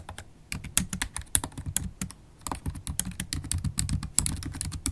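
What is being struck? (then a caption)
Laptop keyboard, plastic keys. Continuous typing on a MacBook Pro keyboard, its black plastic keys set in an aluminum laptop body, struck with long stiletto acrylic nails and fingertips. The result is a rapid stream of short, dry clicks and taps, each with a bright, high tick from the nails over a soft low thud from the keys, with brief pauses between bursts.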